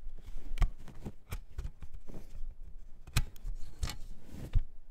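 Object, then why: Plastic CD jewel case. A plastic CD jewel case is tapped in a quick, irregular run of short, dry clicks with almost no ring. The clicks sound sharp and bright at the top while most of the energy sits low, and the taps blend into a soft, steady rustle.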